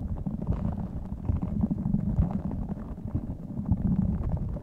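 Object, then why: Rubber spiky squishy ball filled with beads. A small clear spiky rubber squishy stress ball filled with colorful beads is held in both hands close to the microphone, squeezed and rubbed with the fingertips while its spikes are scratched. The result is a dense, continuous low rumbling squish with soft crackling and scratching textures, and almost no high-pitched content.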